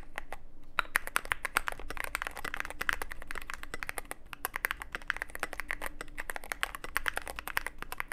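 Fingertips type steadily on a Cyberboard mechanical keyboard with plastic keycaps and a black aluminum case. A fast, continuous run of short, sharp keystroke clicks and clacks dies almost instantly, with bright tops over a steady low hum underneath.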